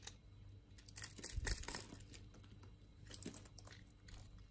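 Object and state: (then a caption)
Bar of soap scraped with a blade. A utility knife blade shaves and scrapes a solid rectangular bar of green soap with an embossed pattern, held in the palm, sending flakes falling off. Soft, crisp scraping and crumbly shaving strokes come in bright, uneven bursts over a steady low hum, peaking in a louder run of strokes near the middle.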